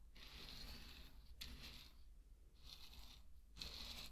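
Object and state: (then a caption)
Pearl barley grains being poured. Dry pearl barley grains are scooped with a wooden spatula, stirred, and poured back onto a bed of barley. Four separate bursts of bright, rattling hiss are heard, each a quick granular pour that tapers off, over a steady low hum.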